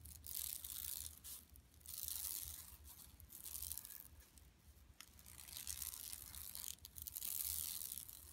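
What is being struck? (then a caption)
Woven plastic mesh tote bag. Long nails scratch rapidly over the weave of a flat, empty yellow woven plastic mesh tote bag lying on carpet. The sound is a bright, dry, crackling rasp that comes in uneven bursts, swelling and fading over a faint low hum.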